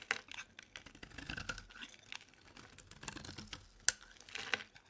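A dry, solid, hand-sized purple Palmolive bar soap held in the hand is scraped and shaved with a metal utility knife blade, producing shavings. Quiet, irregular, crisp scratching and crackling strokes come with sharp bright clicks, mostly in the high range with little low end.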